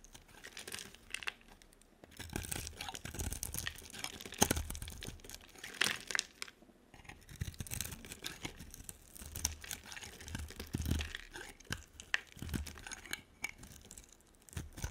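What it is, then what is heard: Bar soap being carved. A hand-sized solid green bar of soap with a dark coating is scraped and carved with a utility knife blade, cutting lines across its face. Dry, bright scraping and crisp cutting sounds come in rapid, irregular bursts, with soft low thuds beneath. The soap is scored but no verdict is given on the result.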